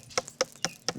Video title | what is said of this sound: Saint-Domingue, le Nouvel Eldorado des Français | c'est pas ferme c'est pas le bruit sourd donc elle est bonne